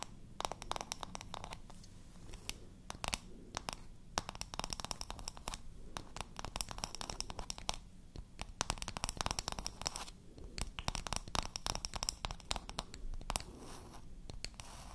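A small, round, pink painted wooden toy makeup compact, about palm size and solid, is tapped and scratched on its flat face with long nails. The result is a quiet, steady stream of sharp, dry clicks and bright scratchy rasps with no ring. A soft low rumble runs underneath.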